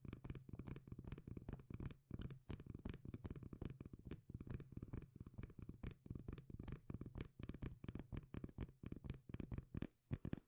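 Long nails scratch and tap the face of a solid, palm-sized round cork lid held in one hand. The result is a rapid, steady run of short, dull, bassy taps and soft scratches that die away almost instantly, with a low hum around 117 Hz and almost no high brightness.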